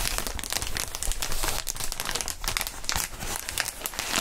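Gloved fingertips squeeze and crinkle a large, clear, inflated plastic air column cushion wrap sheet with hollow tubes. The result is a steady, dense crinkling full of bright, crackly rustles over a soft low rumble, with no clear pauses.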